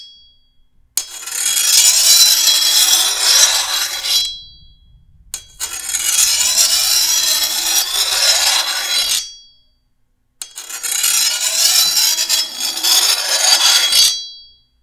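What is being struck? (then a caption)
Steel machete blade and hand file. A hand-held steel file is drawn along the edge of a long, thin, solid steel machete blade in three long strokes. Each stroke is a bright, hissing metallic rasp with almost no low end and short quiet gaps in between.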